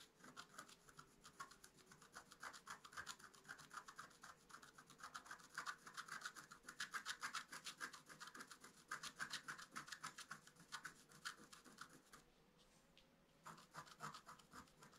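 A wooden stylus scratches the coating of a flat black-coated scratch-art paper sheet in quick, irregular strokes, making a dry, bright rasping sound. The strokes grow denser and louder in the middle, ease into a near-quiet pause around twelve seconds, then resume briefly at the end.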